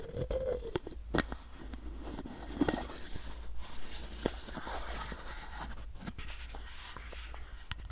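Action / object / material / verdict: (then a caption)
scrape / plastic bottle with paper label / plastic / none. Fingernails scratch along a capped, hollow white plastic supplement bottle and its paper label while it is held in both hands. The result is dry, papery scraping with sharp, quick ticks and clicks over a steady low hum.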